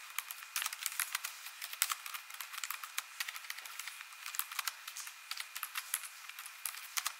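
Long nails and fingertips type quickly on the plastic keys of an ASUS laptop keyboard. The result is a quiet, rapid stream of sharp, bright clicks and taps that stop almost instantly, with almost no low end.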